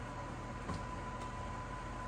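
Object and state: Nothing is struck.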